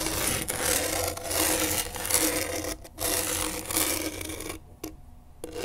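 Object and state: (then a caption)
Skateboard grip tape. A pen tip held in a gloved hand rasps across coarse grip tape on a skateboard deck. Steady, gritty scratching strokes carry bright, hissy texture, briefly dropping out just before the three-second mark. The rasping then quiets to a faint scrape near the end before a final short scratch.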